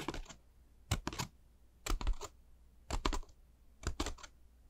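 Long pink nails tap and scratch along the paper ridges of a hollow, light honeycomb paper bat decoration: a black pleated tissue-paper ball shaped as a bat with pointed ears, a yellow and red face and purple paper wings. Five short bursts of quick, dry, papery taps and scratches come about once a second, with brief crackly clicks and near silence between them.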